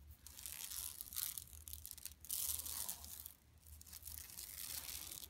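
Long nails scratch across a large, flat, empty yellow woven plastic mesh shopping tote lying on carpet. The result is a run of bright, raspy scraping and crinkling strokes that swell and fade in waves, with a brief quieter stretch in the middle.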